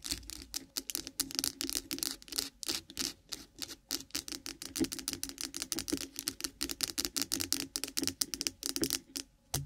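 Long pointed nails of both hands rapidly tap and scratch a white solid bar of milk soap with embossed lettering lying on the microphone. The result is a dense stream of crisp, bright clicks and scratchy rasps with almost no ring after each hit.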